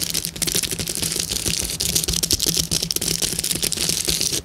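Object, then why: Plastic bubble wrap sheet. A clear plastic bubble wrap sheet with hollow air bubbles is tapped and scratched with long nails, then gripped and crinkled by hand. It makes a dense, continuous stream of bright, crisp clicks and crackles that die away almost instantly, over a faint steady low hum.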